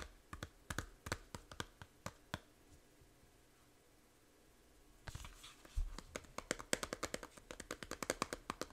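Long nails tap the front cover of a small hollow plastic 3DS game case, making sharp, dry, bright clicks that die away almost instantly. A sparse run of taps fades into a quiet pause around 2.5 seconds, then denser, faster, slightly louder tapping resumes from about 5 seconds to the end.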